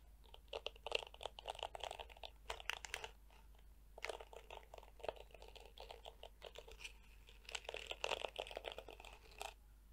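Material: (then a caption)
Plastic. A small detangling hairbrush with a black hollow plastic back and dense, flexible yellow plastic bristles is scratched and flicked with long nails. The result is quiet bursts of rapid, dry crackling and crunchy clicks. They are brightest in the high range, with clusters around 1, 2.5 to 3 and 8 seconds and softer rustling between them.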